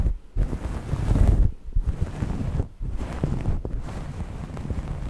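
Long nails scratch and rub a soft grey knit cloth draped over the microphone. The result is a dense, low, rumbling scrape with almost no high content, swelling and dipping in waves with brief gaps between strokes.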